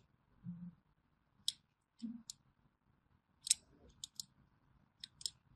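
A small thin metal blade scores diagonal grooves into a solid orange bar of hand soap held in the palm, scratching and cutting. Short, crisp, bright scraping clicks come in quick separate bursts, with a few soft low thuds between them, all at a quiet level.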